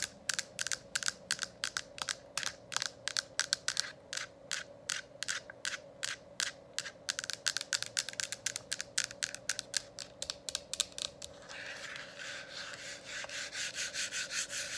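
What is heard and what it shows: Long acrylic nails tap rapidly on a hollow, lit plastic diffuser dome cover, producing dozens of sharp, bright clicks over a faint steady low hum. After about eleven seconds, the tapping gives way to a continuous scratchy rasp across the plastic that swells in a slow rhythm.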